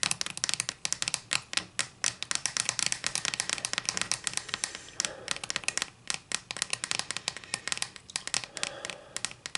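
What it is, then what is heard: Wooden ruler scratched with nails. Long nails scratch and tap along the face of a solid wooden ruler held in the hands, making a fast run of bright, dry clicks and scrapes. Each stroke dies almost at once, with hardly any low end, and the strokes keep on steadily for the whole clip.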